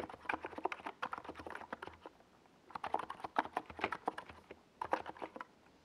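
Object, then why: Plastic mechanical keyboard with plastic keycaps. A compact 68-key NiZ Plum Atom 68 keyboard with a white plastic hollow case and purple and yellow Domikey Gas Attack SA plastic keycaps is typed on rapidly with the fingertips of both hands while it rests on a desk pad. Quick, clacky mid-pitched key taps come in bursts with brief pauses between them, and each stroke is short and dry with a slightly hollow, plasticky tone.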